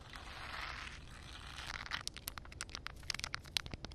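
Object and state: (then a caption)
Wet concrete surface. Long red nails scratch across rough, flat wet concrete with a shallow puddle, making a soft, bright, gritty hiss for the first second and a half. Then they tap the wet surface in a quick, uneven run of sharp, crisp clicks with almost no ring.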